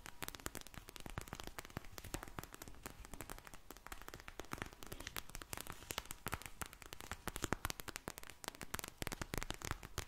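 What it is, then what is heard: Gel bead eye mask. A soft, filled pink vinyl gel bead eye mask is held up, squished and tapped with long nails. It makes a dense, continuous stream of quiet, sharp clicks and crackles with no ring, spread from low thuds up to bright ticks.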